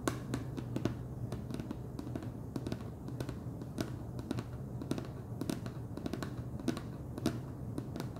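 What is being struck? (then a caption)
Plastic screw lid on a plastic jar. Fingernails tap the top and ridged edge of a wide orange plastic screw lid on a large clear plastic jar full of cheese puffs. The quick, dry, bright clicks come in an irregular stream and die away almost at once. A steady low hum sits underneath them.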